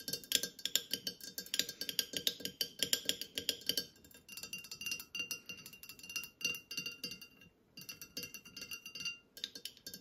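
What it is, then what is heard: Full glass lemonade bottle. Fingernails tap rapidly on a full glass bottle of Santa Cruz lemonade with a green cap, standing among groceries, striking both the bottle and its cap. The result is a dense run of bright, high glassy clinks with almost no ring, sharpest in the first four seconds and softer after that, with brief pauses between bursts.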